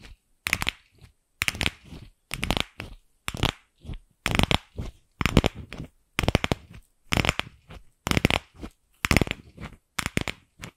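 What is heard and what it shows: Long acrylic nails tap and scratch on a single pink, fist-sized, empty hollow plastic ball. The result is short, crisp, crunchy bursts of clicking and scraping, repeating roughly every second in an uneven rhythm, with a dry hollow low body and bright high edges. Quiet gaps fall between the bursts.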